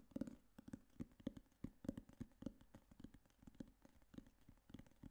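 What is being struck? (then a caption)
Hardcover notebook cover. A black hardcover notebook or case, held in both hands, is tapped with fingertips and nails on its flat cover. The result is a quiet, rapid, uneven run of dry, hollow taps with a low-mid thump and clicky nail edges that stop almost instantly.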